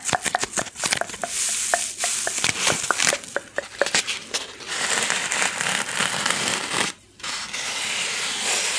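Long painted nails rub and scratch a small white styrofoam (polystyrene foam) packing insert with a recessed cavity, a solid light foam block held close to the microphone. Sharp, bright squeaks and crackly scratches come first, then settle into a dense, hissing rubbing texture. It stops for a brief moment of near silence before the rubbing resumes.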